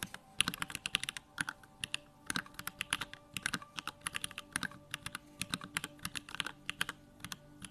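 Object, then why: Plastic mechanical keyboard. Fingertips type rapidly on a small 65% Bakeneko65 mechanical keyboard with Durock lavender switches, a plastic case and pink-white plastic keycaps, resting on a wooden desk. The keystrokes are short, bright, dry clacks with little low end, arriving in quick uneven bursts.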